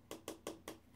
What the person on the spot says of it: it sounds plastic